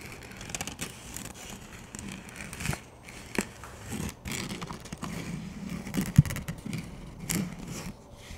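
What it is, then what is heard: Plastic frisbee disc. Fingers tap and scratch the rim of a plastic frisbee disc, held edge-on and flat. The result is a steady run of soft, dry scratching and light taps with a low hollow body and brief bright edges, broken by one sharper, louder tap near the six-second mark.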